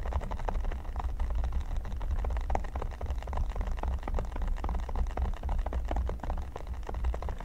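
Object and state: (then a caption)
Silicone pyramid mat. Fingertips and nails tap and scratch across a flat, solid red silicone pyramid mat. The result is a dense, steady stream of quick, dry little taps and scrapes over a constant low hum.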